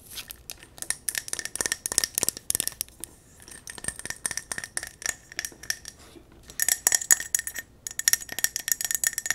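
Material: Glass.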